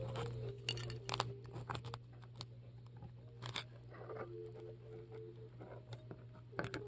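A metal melon-baller with a wooden handle scrapes and carves foam out of a large, solid white polystyrene foam ball held on a table. Irregular bursts of bright, crisp crunching and squeaky scraping come and go over a steady low hum.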